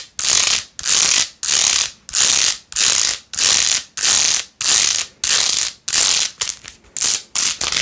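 Long nails scratch fast across a small hand-held plastic phone case with a rose-gold plastic rim, covered in pink faux-pearl beads. The result is a steady run of bright, hissy scratching strokes with almost no low end, each sweep fading before the next. The strokes grow shorter and quicker toward the end.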